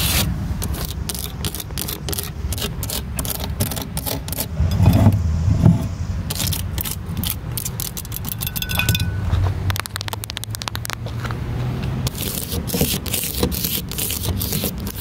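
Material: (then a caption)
Plastic. Long black pointed nails tap and scratch quickly across the raised gauges and knobs of the dashboard and the body panels of a large, hollow, moulded grey plastic playground ride-on car. The result is a fast, irregular stream of sharp, bright clicks and scrapes that die away almost instantly, over a steady low rumble.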